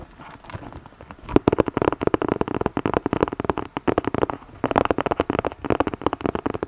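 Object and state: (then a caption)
Cardboard box tapped and scratched. Fingernails tap and scratch the surface of a flat red cardboard gift box with a white snowflake print, held upright. A soft, faint scratching opens, then gives way at about 1.4 seconds to a fast, dense run of dry, papery taps with a hollow mid-range body. Each tap dies almost instantly, with little low rumble or high sparkle.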